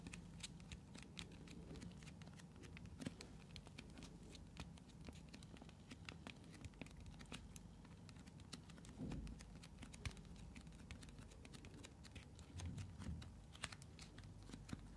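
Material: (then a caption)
Plastic. A translucent blue plastic bottle, partly filled with liquid and held in both hands, is tapped and scratched along its sides by long nails. The result is a steady stream of quiet, dry clicks and scratchy rustles with a low, dull body and bright, short ticks. The occasional louder tap stands out against the close, soft background.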